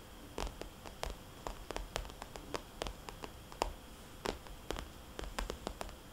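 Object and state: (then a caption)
Vinyl cosmetics bag tapped with fingernails. A fingernail taps and traces circles on a small, glossy red polka-dot vinyl cosmetics bag. Quick, bright clicks with short decay repeat irregularly over a soft, steady hiss. Between the taps there is faint rustling, and the bag gives off a soft, hollow tone.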